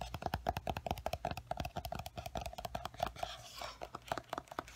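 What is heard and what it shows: Fingertips and nails tap and scratch the glossy paper cover of a large paperback coloring book, "The Time Garden." A quick, uneven run of crisp, dry taps carries a faint mid-pitched ring. Around the three-second mark, softer scratching brushes across the cover.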